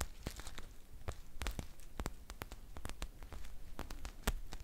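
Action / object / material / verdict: scrape / foil tea pouch with paper label / metal foil / none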